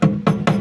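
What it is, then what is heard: Solidly reinforced steel roof rail. A hammer taps three times on the welded steel sheet-metal roof rail (cornice) of a VAZ-2103, freshly reinforced with strips welded inside it. Each tap is a short, dull, low thud with almost no bright ring, dying away quickly. The rail sounds solid, showing it has been reinforced very well.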